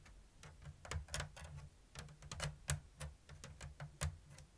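Long blue nails tap and scratch the thin bamboo strips of a round, hollow woven bamboo lattice basket with an open diamond weave. Quick, dry, bright clicks and short scrapes come at an uneven, unhurried pace, each dying away almost at once. A low, steady hum sits underneath them.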